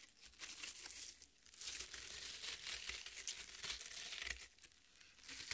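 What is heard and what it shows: Long red nails scratch and tear into the juicy flesh of a half watermelon on a plate. The result is a bright, wet crackling and crinkling, with soft tearing rasps that swell and dip in steady waves. There is almost no low end.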